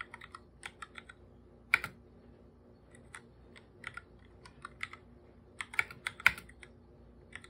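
A full-size black plastic keyboard with plastic keycaps, sitting on a purple desk, is typed on quickly with bare fingertips. The hollow body gives short, bright, clicky taps. The taps come in scattered bursts with a few sharper, louder strikes among the quieter ones.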